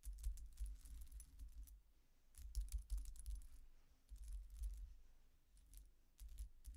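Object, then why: Metal coin-disc necklace. Long nails tap, scratch and rake the thin, solid metal discs of a silver-coloured coin-disc statement necklace with chains lying on a dark cloth table. Quick, bright metallic clicks and light jingling come in three uneven bursts, with quieter pauses between them. A low, steady hum runs underneath throughout.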